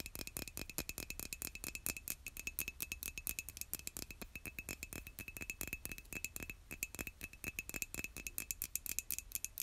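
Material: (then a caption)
Ceramic. Long nails tap rapidly and continuously on a white, glazed, hollow ceramic mug held by its handle. The steady stream of crisp, bright clicks dies away almost instantly, with a faint ringing tone running beneath the taps.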